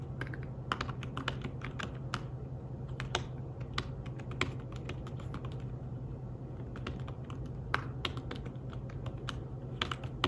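Fingertips with short nails tap the keys of a slim, flat, thin fabric-covered tablet keyboard in a steady run of typing. The keystrokes are soft, quick, bright clicks that die away almost at once, over a constant low hum.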